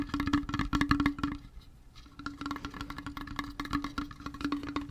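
A small, flat, hollow hip flask with a brown leather wrap and a metal cap and edges is held close and tapped rapidly with fingertips and nails on the leather and metal surfaces. The result is quick, dry, irregular clicks and taps over a steady low hollow tone near 281 Hz. The tapping is dense at first, thins out briefly around the two-second mark, then picks back up.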